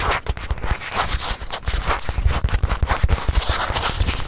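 A small stuffed white leather watch pillow is held in the hand while long nails scratch and squeeze its leather surface. The result is a steady run of soft, low, thumpy taps and squishes mixed with a dry, brushing scratch that quickly fades after each touch.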